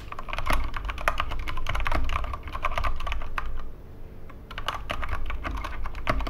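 Both hands type with their fingertips on a Corsair K65 Mini 60% mechanical keyboard with plastic keycaps and Cherry MX Red switches, resting on a wooden desk. Quick, dry plastic clacks with a midrange tone come in dense bursts, easing briefly into a quieter stretch before the steady typing picks back up.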